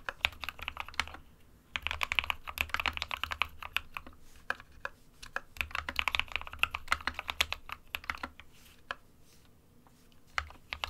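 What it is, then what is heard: Plastic mechanical keyboard. Fingertips of both hands type rapidly on an SK61 compact 60% plastic mechanical keyboard with white and grey keycaps resting on a desk mat. Dense bursts of sharp, bright clacks with a clicky peak near 2.6 kHz come in runs separated by short pauses, over a faint low hum. Each keystroke cuts off almost instantly with no ring.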